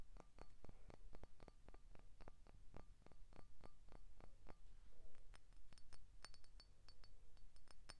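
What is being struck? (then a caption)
Empty glass soda bottle. An empty, hollow clear glass Grapette soda bottle with a painted label is tapped with short painted fingernails along its body and neck, and turned sideways during the tapping. The result is a quick series of light, dry clinks, with a faint glassy ring in the lower taps that gives way to brighter, higher pings later on.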